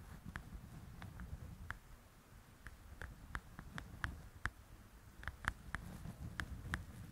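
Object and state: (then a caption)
Paperback coloring book tapped with nails. Long acrylic nails tap on the cover of a solid softcover paper coloring book lying flat. About 16 short, crisp clicks with a brief midrange ring are spread irregularly over a low, soft rumbling background. The taps are quiet and decay almost instantly.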